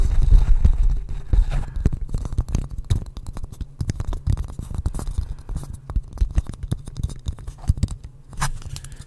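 Fingertips and nails scratch and tap the rounded outside of a small, hollow, polished wooden bowl held upside down in front of a microphone. The result is a quick, irregular stream of dull, low-pitched knocks and scraping rustles with no ringing after each hit.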